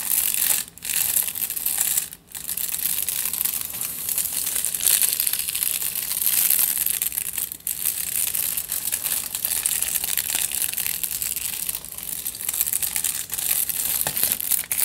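Fingertips and nails scratch and crinkle a crumpled aluminium foil tube held diagonally. A dense, bright, papery crackle runs almost continuously, broken by brief quiet gaps near the start and around the middle.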